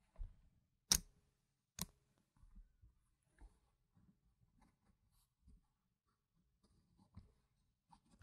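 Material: Plastic.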